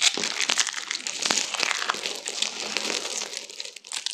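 A hand-sized spiral roll of thin pink and green dried soap shavings with a hollow center is held in both hands and squeezed and crushed with long-nailed fingertips. It gives dense, dry, bright crackling and crinkling with many tiny snaps and no low end. The roll crumbles into flakes.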